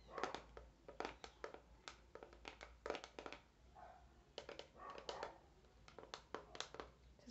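A hand-sized clear hard plastic clamshell package, holding a pink silicone facial cleansing brush on a cardboard base, is tapped and scratched with fingertips and nails on its plastic dome. Quick, bright, hollow clicks come in uneven bursts, mixed with softer scratchy, crinkly rubbing between them. The overall sound is quiet and dry, with each tap dying away almost at once.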